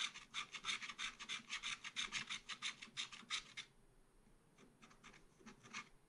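A wooden stylus scrapes short vertical strokes across a black coated scratch art paper page in a small spiral pad. It makes a rapid, fairly even series of bright, dry rasping scratches for about three and a half seconds. A fainter, sparser run of strokes follows.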